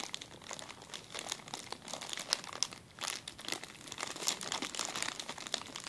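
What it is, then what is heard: Plastic zip-lock bag. A clear plastic zip-lock bag is scrunched in the hand, giving a dense, continuous run of bright crinkles and crackles. The sharp snaps sit mostly in the high range with almost no low end, and each pop dies away almost instantly.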